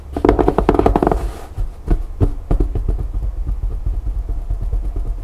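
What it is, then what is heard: Fabric storage bin, scratched. Long nails and fingertips scratch and rub the canvas over the rim and top of a canvas-covered fabric storage bin built on a board frame. The result is a fast run of dry, scratchy strokes over a low, dull thump. The strokes are densest and loudest in the first second, then continue as softer, spaced scrapes.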